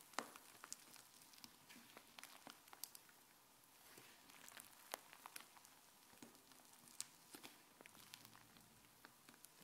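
Fingers press into a large sheet of fluffy white slime spread on a countertop and drag it, folding it and stretching it into strands. Quiet, soft squishing runs throughout, broken by frequent sharp, bright crackles and pops that die away almost instantly.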